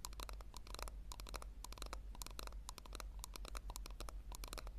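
Long nails scratch and tap on the sides of a small, hollow pink plastic tub held with its base facing forward. The result is a quick, uneven run of dry, bright clicks and scrapes over a steady low hum.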